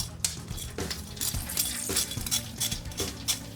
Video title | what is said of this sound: Nashville hot chicken - who the jets play Tennessee Titans | Listen to that. How crispy that is.